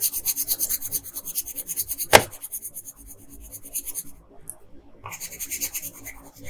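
A wooden colored pencil, held in a hand with long pink nails, scratches in small quick strokes across a thin paper coloring sheet lying flat on a table. It makes a rhythmic, bright, raspy scratching with a sharp tap near two seconds. The strokes then soften and briefly pause before a brighter run of scratching resumes.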